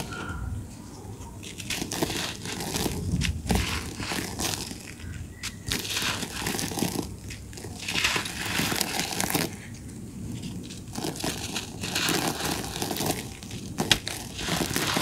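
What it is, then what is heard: Dry soil clump crumbling. A fist-sized, solid clump of dry red soil is held in both hands over loose red dirt while the fingertips squeeze and crush it. The sound is a steady stream of dry, gritty crunching and crackling in uneven bursts, with bright, sharp grains and quick-dying snaps. The clump crumbles into gritty pieces that fall onto the dirt below.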